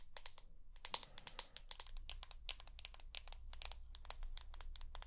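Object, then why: Glass-backed smartphone tapped with fingernails. Long nails tap rapidly on the glass back of a rose gold iPhone held close to the ear. The result is a dense run of sharp, bright, dry clicks with uneven loudness over a faint low hum.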